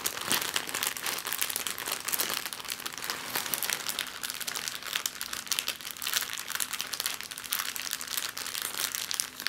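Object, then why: Thin plastic bag. An empty clear plastic bag on a table is crumpled and pinched with fingers and long nails. The result is a steady stream of dense, bright crinkling and crackling with no low end, lasting about ten seconds.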